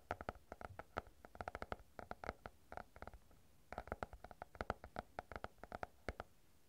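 A stack of paper banknotes is folded, crinkled and rubbed with the fingers near the microphone. Dozens of quick, dry crackles snap one after another with almost no ring, breaking into a brief pause midway before starting again. The crackles are bright papery bursts with a faint low thud beneath.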